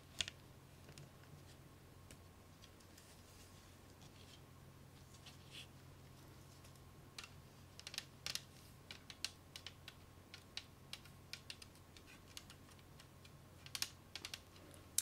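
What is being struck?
Plastic CD jewel case tapped with nails.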